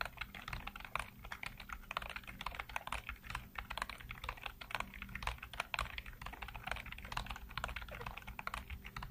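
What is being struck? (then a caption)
Plastic computer keyboard. Fingertips rapidly tap and type on the hollow keycaps of a full-size black plastic computer keyboard. The result is a dense, continuous stream of short, clicky keystrokes with bright, crisp clacks over a faint low steady hum. The pace is fast and even throughout.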